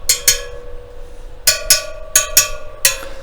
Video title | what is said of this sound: KTM Project - Wheels and Tyres | you can either tap it and listen for the sound